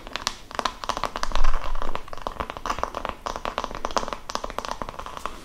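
An oval wooden massage brush with a cream strap is held in both hands while its solid wooden back is tapped with fingertips and long nails. The result is a fast, irregular stream of short, dry clicks and taps with a hollow tone around 1 kHz. They sit over a low rumble and swell in loudness near the middle before settling into steady tapping.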